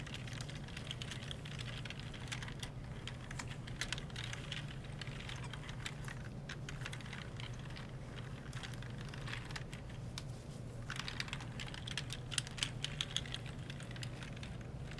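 A gloved palm holding a wipe rubs back and forth over the key rows of a black plastic computer keyboard. The keys click in quick, dense clusters of short, bright taps over a steady low hum, with a few louder clicks near the end.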